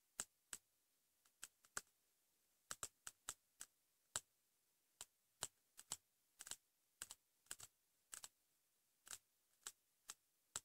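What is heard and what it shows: Fingertips and short nails tap quickly on the cover of a pink patterned hardcover notebook, likely cardboard, lying flat. About 25 quiet, sharp, bright clicks come in uneven bursts, each dying away almost at once.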